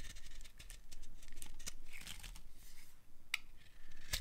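A utility knife blade carves strips from the edge of a dry, solid, pale light green bar of soap. The result is a steady run of crisp, dry scraping and shaving sounds with bright, sharp ticks as the blade bites and pieces break off, over a faint low rumble.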